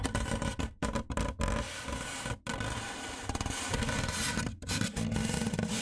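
Fingertips and nails of both hands tap rapidly along the top edge of a large, white, hollow styrofoam box. The result is a dense, continuous patter of dry, hollow taps with a scratchy, rubbing texture. The sound is weighted toward the low end and broken by a few brief silent gaps.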